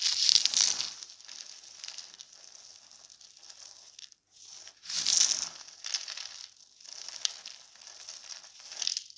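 Both bare hands grab handfuls from a heap of small pastel soap shards coated in starch powder, crushing and rubbing them between the fingers and palms as crumbs fall. The result is a bright, high crunching and crinkling that comes in dense bursts, the loudest at the start and again around the midpoint, with quieter rustling in between.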